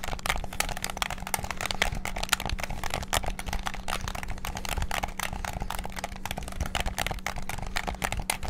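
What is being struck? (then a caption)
Plastic game controller. A white and black hollow plastic PS5-style gamepad has its triggers and buttons clicked rapidly with fingertips. The result is a dense, continuous stream of sharp, dry plastic clicks that stop instantly, over a steady low hum.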